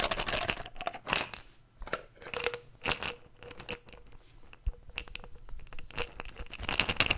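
A medium clear glass jar with a yellow lid and a label, hollow and empty, is held in one hand and tapped with the fingertips and nails. It gives a quick run of bright, glassy clinks and light scratchy taps that stop short with almost no ring, some louder and some softer.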